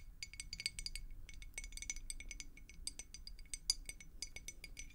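A clear glass beer mug with a handle, partly filled with water, is tapped and scratched with long acrylic nails. Quick, bright clinks and ticks with a high ring come in rapid clusters over a soft, low background hum.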